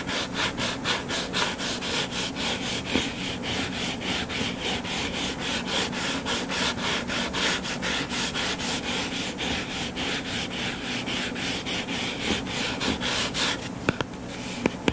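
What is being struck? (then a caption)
Hardcover book cover. Fingertips and nails scratch the cover of a solid, closed hardcover book lying flat on a table. The result is a steady, rhythmic run of bright, dry scratching strokes at about two per second. A few sharp clicks come near the end.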